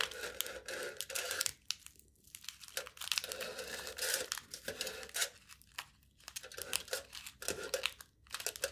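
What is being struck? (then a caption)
Aluminium foil stretched over a cup, scratched and pierced with a knife tip. A knife tip stabs and scratches aluminium foil stretched taut over the mouth of a hollow cup, making a bright crinkling, tearing sound. The rasping bursts come in quick irregular clusters with brief quiet gaps between them, carrying almost no low end.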